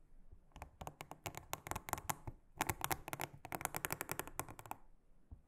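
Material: Silicone.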